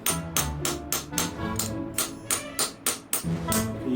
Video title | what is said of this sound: The Surprising Intricacies Of Viking Art - The Dark Ages: An Age of Light | You hear the dull thud of it now. As we hammer it, it gets higher and higher the pitch.